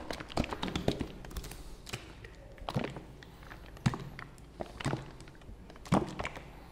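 A white and blue plastic fabric softener bottle is held in both hands while fingertips tap its hollow plastic body. The result is a steady run of short, dull taps and thunks with low resonance and almost no ring. A few louder knocks stand out among them.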